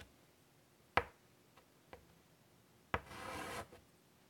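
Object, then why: Chalk on a wooden-framed chalkboard. Fingers draw small details in white chalk on a large, flat chalkboard in a wooden frame. Two sharp chalk taps ring out with a couple of faint ticks between them. The second tap leads into a brief, bright, scratchy rub of chalk across the board before it goes quiet.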